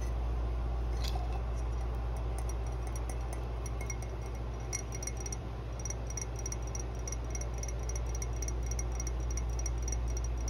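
Long blue nails tap rapidly along the outer wall near the rim of an empty matte green ceramic mug lying on its side with its open rim showing. The taps come as quick, fairly steady bright clinks with short ringing over a constant low hum.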